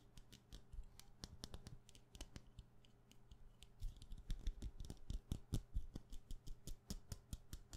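A solid white wax pillar candle with a wick, held in one hand, is tapped and scratched quickly on its side with fingernails. Rapid, short, dry clicks and scratchy strokes come over a faint low steady hum. They grow louder and denser in the second half.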